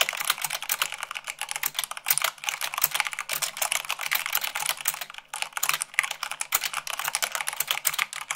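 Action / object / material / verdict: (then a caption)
tap / mechanical keyboard with plastic keycaps / plastic / none. Fingertips with long nails type fast, at about 98 words per minute, on a mechanical keyboard with white plastic keycaps on a black base. A rapid, steady stream of short, bright plastic clicks and clacks is heard, with almost no low end and no ringing between strokes.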